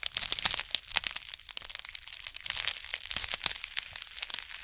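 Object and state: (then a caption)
Plastic bubble mailer envelope. Long nails and fingertips scratch and squeeze the surface of a white plastic bubble-lined mailer envelope held upright in both hands. The result is a dense run of sharp, bright crinkles and crackles with almost no low end, each snap dying away almost instantly. The scratching swells and thins in uneven bursts over the few seconds.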